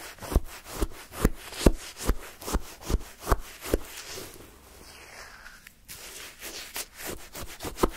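A wooden stick scrapes and digs through pale yellow shaved-ice sherbet in a paper cup, making a steady run of short, crunchy scraping strokes through the icy crystals. The strokes fade to a softer, quieter rasp midway, then pick up again with bright, gritty scrapes.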